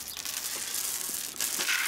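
A chain is dragged across a solid, non-delaminated section of concrete bridge deck during an inspection. The result is a bright, continuous rattling scrape, mostly high-frequency, with almost no low-end boom. This is the sound of sound concrete.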